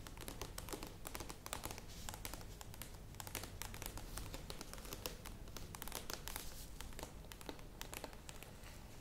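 Long nails tap and scratch the sides and lid of a medium plastic yogurt tub standing upright, giving a dense run of quick, crisp clicks and papery scratching that sounds almost like crinkling. The bright ticks sit over a steady low hum, and each tap dies away almost instantly.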